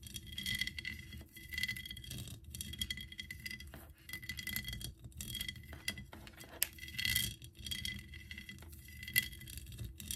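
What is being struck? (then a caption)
Ceramic figurine. Long acrylic nails on both hands tap and scratch the sides of a hollow ceramic Eiffel Tower figurine or bank, about 25 cm tall, with an embossed lattice pattern and bead studs. The result is a steady stream of quick, dry clicks and raspy scratching with bright, glassy clinks that ring near 3.3 kHz and die away almost at once, over a low rumbling scrape.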